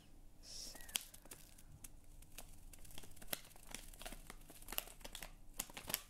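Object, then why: Small plastic film sachet of powder. A small, flat, printed plastic or foil sachet of Haas cherry kissel instant jelly powder, apparently full of powder, is held in both hands by the fingertips and crinkled and rubbed in front of the face. Soft, steady crinkling and rustling is broken by sharp, bright crackles and snaps that die away almost instantly. The overall sound stays quiet and close.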